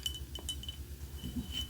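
Light clinking taps on a Wicked souvenir mug from the off-Broadway show, its inside printed with the words "one short day." Bright, short chimes ring near 3 kHz and fade quickly over a steady low hum.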